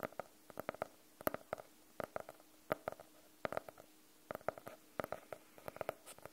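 Fingernails tap and scratch on the cover of a closed, solid navy faux-leather hardcover notebook. Quick, dry, hollow-sounding taps come in irregular bursts and die away almost instantly, with a mid-range knock around 600 Hz. Faint scratching fills the quiet gaps between them.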